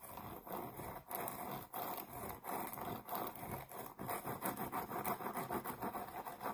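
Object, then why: Round cork board. Long nails scratch across the face of a solid, flat, round cork board about 20 cm wide, held upright. Eleven quiet, dry rasping strokes follow one another in an uneven rhythm, each a short scrape with a midrange tone and bright hiss that stops quickly.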